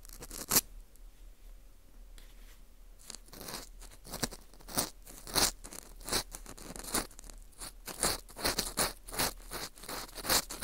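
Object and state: Dried wheat gluten ring (fu) being scraped.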